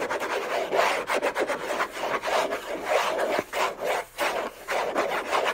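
Short nails on a hand with a thin bracelet scratch hard and fast across the hollow lid of a large, flat orange Hermès cardboard box. The sound is a dry, raspy scraping in irregular bursts with brief pauses, with a hollow resonance around 550 Hz and bright scratchy texture on top.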